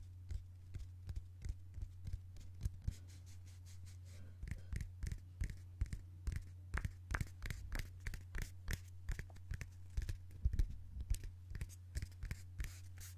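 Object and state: Paper cup.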